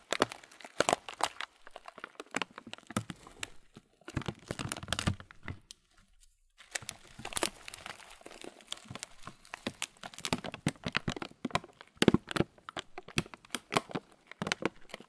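A transparent thin plastic bag, partly full of oat muesli with raisins, is held in both hands and squeezed and crinkled with the fingers. Dense bursts of crisp crinkling and crunching rustle through the clip, with sharp bright cracks. There is a brief near-silent pause around the six-second mark.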